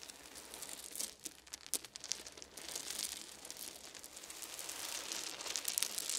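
Small solid wooden beads are poured from cupped hands, then rubbed and pressed under the fingertips on a fuzzy blanket. The result is a quiet, bright patter of dry clicks and crinkly rustling, with a few sharper ticks near the start. It grows denser and slightly louder toward the end.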